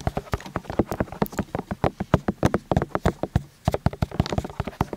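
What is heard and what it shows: Fingertips and nails tap and scratch the silicone ears of a white binaural microphone on a stand, from both sides, with the ears set in plastic housings. A rapid, uneven run of short, dull, low thumps and clicks follows, with a brief pause just past the midpoint. Each hit stops almost instantly, with no ring.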